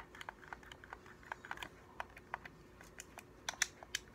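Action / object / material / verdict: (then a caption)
tap / plastic game controller / plastic / none. A hollow, translucent blue-and-white plastic game controller is held in both hands while the thumbs press and click its buttons and sticks and the fingertips tap the shell. About fourteen quiet, sharp, bright plastic clicks and taps come at an uneven pace, each dying away almost at once, over a faint steady hum.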